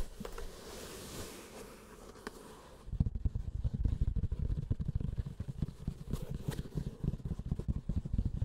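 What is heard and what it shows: A closed, hollow, keyboard-sized hard-shell carrying case covered in grey woven fabric, with a 'Spark' label, lies flat on a felt mat and is scratched and tapped with fingertips and short nails. For the first three seconds a soft, airy scratching rustle plays across the fabric. It then gives way to a quick run of dull, low, hollow taps and thumps that die away almost instantly.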